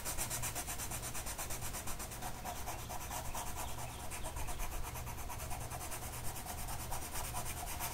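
A blue colored pencil tip is rubbed across a flat printed mandala coloring sheet of paper that rests on a table and is held down by one hand. The result is a steady, scratchy rubbing with fast back-and-forth strokes, bright papery hiss on top and a low continuous hum underneath.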